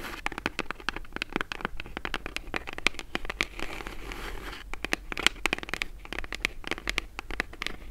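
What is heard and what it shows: Long acrylic nails tap and scratch the front and sides of a small, hollow brown kraft cardboard mailer box held in both hands. The result is a dense run of sharp, dry clicks that die away almost instantly, over a light papery scratching. The sound is bright and crisp, with a faint low hum underneath.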